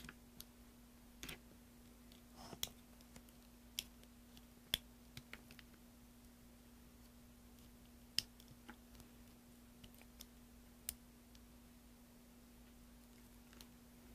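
A green-handled carving tool scrapes and carves a solid green soap block over a tray of shavings. About eleven quiet, sharp, bright clicks land at irregular intervals over a faint scratchy texture and a steady low hum. Each click stops almost instantly.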